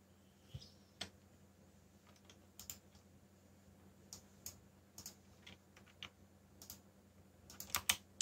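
Fingertips, one of them bandaged, tap the black plastic keycaps of a backlit mechanical keyboard while typing. About 13 sharp, bright clicks arrive at an irregular pace and die away almost instantly. They sit over a faint, steady low hum, with a quick cluster of keystrokes near the end.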